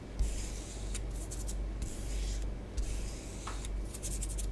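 A long nail tip draws lines and patterns through orange bath bomb powder spread on a tabletop. Soft, gritty scratching and rubbing comes in bright, hissy strokes over a steady low rumble, with a few slightly louder scrapes along the way.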